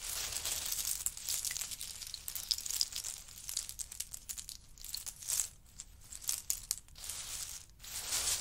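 Hands grab, lift and drop handfuls of small, hollow, empty pistachio shells from a large heap on a faux-fur mat, and scratch through the pile with fingertips and nails. The result is a dense, bright, crackling rattle of clicking shells that swells and thins in uneven bursts, with almost no low end.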